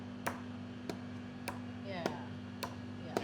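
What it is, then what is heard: Solid, dense piece of beef. A dense piece of beef meat, full of protein, is tapped six times at an even pace for comparison with air-filled lung, giving short, dull, solid-sounding taps. A steady low hum runs underneath throughout.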